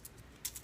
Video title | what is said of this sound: How to Make Kale Chips | you can see and hear how crispy these are